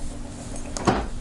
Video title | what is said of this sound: Spyderco Manix 2 Lightweight VS Manix 2 G-10 | You'll shake it like this and you can hear it rattle. I mean, that loosens up the pivot area, but it creates a rattle.